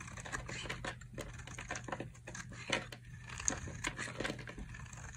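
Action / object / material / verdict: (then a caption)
scrape / bar of soap carved with a knife blade / soap / none. A metal utility knife blade carves a solid yellow dry soap bar, held in the hand, into thin strips and shavings. Quick, crisp scraping and crackling cuts follow one another, bright and papery, over a faint low hum.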